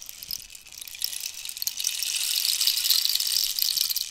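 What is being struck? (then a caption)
Dried cactus rainstick with loose filling. A long, hollow, dried-cactus wooden rainstick with a rainbow-banded end is tilted so its inner filling cascades while long nails scratch its surface. The result is a dense, bright patter and rustle with no low end that swells louder through the second half.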